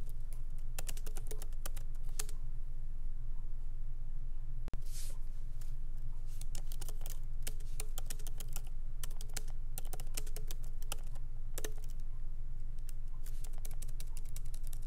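Fingertips of both hands lightly type on the black plastic keycaps of a MacBook Pro keyboard set in an aluminum body, resting on a wooden desk. Quick, bright key clicks come in irregular bursts over a steady low hum, with a brief dropout near the middle.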